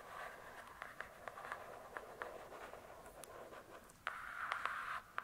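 Long nails tap and scratch the glossy cardboard cover of a large closed hardcover book. Soft, continuous scratching with a midrange hiss is broken by quick, irregular taps. Near the end, the scratching turns louder and brighter.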